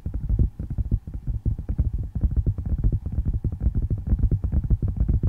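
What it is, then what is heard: Tablet in plastic and glass case. Fingertips and nails tap and scratch rapidly on a flat handheld tablet in a dark plastic and glass case held close to the microphone. The result is a dense run of dull, boomy low thuds with very short decay and little brightness.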